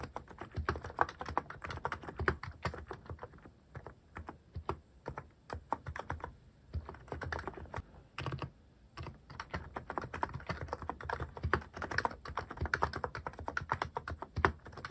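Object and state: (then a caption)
Mechanical keyboard typing. Fingertips type steadily on a cream plastic-cased Hanmumu mechanical keyboard fitted with cat-themed plastic keycaps. The result is a dense run of short, dull, low-toned key clacks with almost no bright edge, easing briefly around the fourth and ninth seconds before picking back up.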